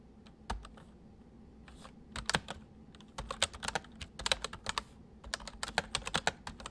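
Both hands type quickly on a full-size white plastic mechanical keyboard with white keycaps resting on a wooden desk, fingertips pressing and tapping the keys. Sharp, bright clicks come in sparse bursts at first, then build into a fast, steady clatter of keystrokes that ring out almost instantly.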